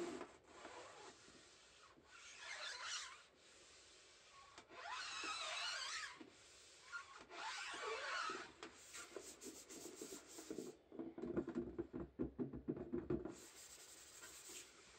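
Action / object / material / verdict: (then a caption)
scrape / tin-plate biscuit tin lid / tin plate / none. Gloved fingertips rub and scratch the printed lid of a large, flat, rectangular tin-plate shortbread tin, hollow and full, lying on a table. Slow, airy rubbing strokes swell and fade with a bright hiss, then give way to a quicker run of scratchy taps with a faint hollow metallic ring before the rubbing returns.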